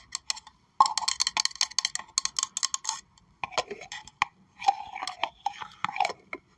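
Long acrylic nails tap and scratch the outer wall of a hollow pink plastic tumbler cup held in the hands. Quick, dry clicks come in clustered bursts with a hollow tone around 1.1 kHz and a bright top, stopping almost instantly. Between them are rougher scratching passages with short pauses.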